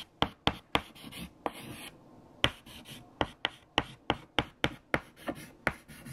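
White chalk held in the fingertips writes equations on a large, flat black chalkboard. About fifteen sharp, dry taps of the chalk striking the board are separated by brief, bright scratching strokes, with a short quiet pause near the two-second mark.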